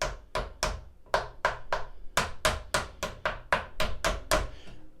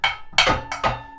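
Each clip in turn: First: About fifteen quick, dull taps that die almost at once, with no metallic ring: a well-damped turntable platter mat. Second: Bright metallic taps in quick pairs, each leaving thin high tones ringing on: a bare, undamped metal turntable platter.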